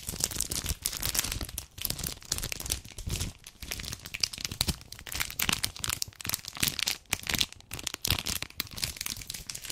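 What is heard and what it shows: A full red 200 g dark chocolate bar in a plastic-paper wrapper is held in the hand and crinkled and scratched with long painted nails. Dense, bright crackling and crinkling runs through the whole clip in quick, uneven bursts, with short sharp scratches and brief quieter gaps between them.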